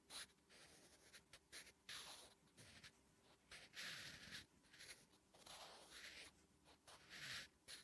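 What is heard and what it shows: A wooden graphite pencil writes Korean letters on a flat, solid lined paper notebook page. It makes quiet, bright scratching strokes in short bursts with brief pauses between them.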